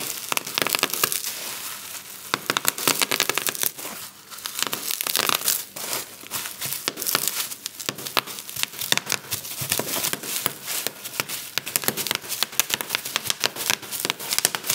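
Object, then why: Plastic bubble wrap. Fingertips and thumbs press down on a flat sheet of clear plastic bubble wrap lying on a table, popping the bubbles. A fast, dense run of sharp, bright pops and crackles is heard throughout, mixed with crinkling plastic and almost no low end.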